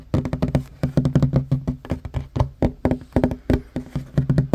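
Fingertips and short nails of both hands tap rapidly on a flat, solid wooden table top. About two dozen short, dull, low knocks fall in quick uneven clusters, each dying away almost instantly with a low wooden thud and little brightness.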